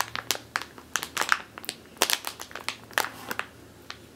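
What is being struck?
Plastic bag filled with flour.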